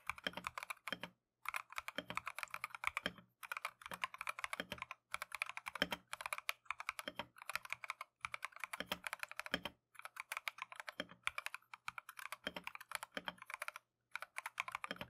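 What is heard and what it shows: A compact Keychron V1 mechanical keyboard with Tangerine switches and green and white plastic Matcha keycaps is typed on continuously with gloved fingertips. Rapid, bright plastic clacks run in bursts, broken by brief pauses, and each keystroke dies away almost instantly with no lingering ring.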